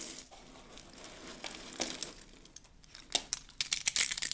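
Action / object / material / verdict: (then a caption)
scrape / curled soap shavings crushed by hand / soap / none. Hands grab handfuls of dry, rolled soap curls and their fragments and crush them. A quiet, dry crinkling first, then a rapid, irregular run of bright, crisp crunches and snaps that grow louder toward the end, with almost no low end and no ring after each one.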